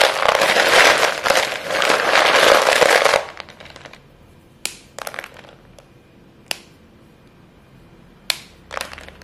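Two chalk-dusted hands with short painted nails squeeze, crush and rub a heap of short, solid white chalk stick pieces in a clear bowl, making them crumble and crunch. A dense, loud, gritty crunching fills the first three seconds. It then drops to quiet crumbling broken by several sharp, bright snaps.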